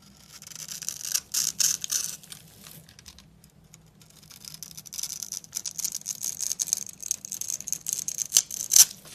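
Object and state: Dry soap bar.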